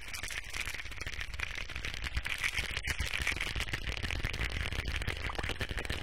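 A small, hollow white plastic supplement pill bottle with a cap and a blue label, likely holding pills, is held close to the mic and rapidly tapped and scratched with fingertips and nails. The result is a dense, continuous stream of short, dry, clicky taps and scratchy rasps, bright around 2 kHz over a steady low rumble.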